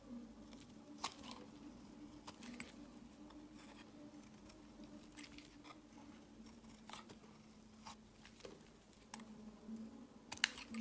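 A solid oval bar of white soap is held in the hand while a utility knife blade shaves and scrapes flakes off its surface. Soft, dry scraping and crisp snips recur over a steady low hum, with sharper clicks standing out near the start and end.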